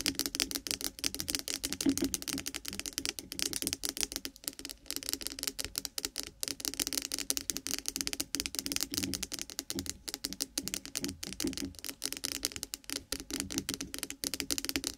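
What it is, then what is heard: Bar of soap. Long pointed acrylic nails of both hands rapidly tap and scratch a white, solid, rounded bar of milk soap resting on top of a binaural microphone. The result is a dense, continuous stream of fast, bright clicks and scratchy ticks with almost no low end, each tap dying away almost instantly, and brief gaps between bursts.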